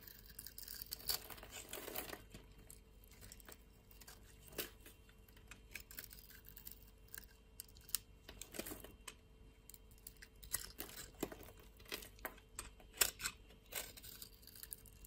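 A metal utility blade scrapes flakes off a solid white soap bar held in the hand, shaving its surface. Quiet, bright, crinkly scraping strokes come in short bursts with brief pauses, over a faint steady low hum.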